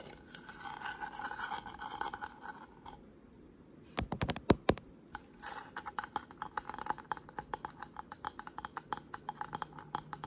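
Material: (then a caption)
Wood. Short pink fingernails scratch a solid white-painted carved wooden flower panel in a steady rasp, then, after a brief pause, tap it with a burst of sharp, dry clicks. The scratching returns mixed with quick, light taps until the end.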